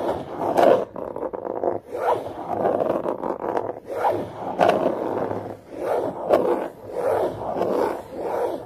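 Long yellow-tipped nails scratch along the top and edge of a long, narrow, hollow green cardboard box lying on carpet. The sound is a steady series of dry, raspy scraping strokes with a hollow midrange body, rising and falling in repeated swells.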